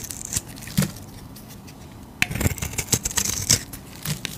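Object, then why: Bar of soap scraped with a metal blade. A metal utility blade scrapes a solid striped soap bar, making bright, crisp rasps and sharp scratchy strokes. A couple of strokes come early, then a quiet pause, then a busier run of irregular scrapes through the last two seconds.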